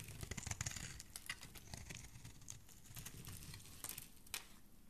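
A metal knife blade slices and scrapes flakes from the flat surface of a solid green bar of soap held in the hand. A quiet, rapid run of crisp, bright scraping and cutting ticks is heard over a soft, low rustle, with a few sharper strokes standing out. Thin flakes of soap come away from the bar.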